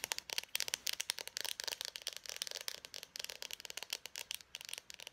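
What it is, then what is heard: Plastic marker, hollow barrel. An Expo dry-erase marker, a small hollow plastic barrel with its cap on, is held in both hands and tapped and scratched rapidly with long painted nails. Some two dozen quick, dry clicks and scratches follow one another over about five seconds, each dying away almost instantly. The sound is bright and high, with no low end.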